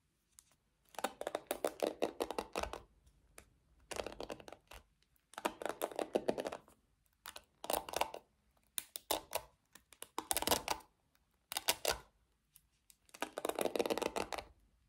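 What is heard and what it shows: Long nails scratch and flick the black plastic pins of a small pink plastic paddle hairbrush. The sound comes in repeated bursts of rapid, dry, crackly clicking separated by short pauses. Each click stops almost instantly, with no ringing afterward.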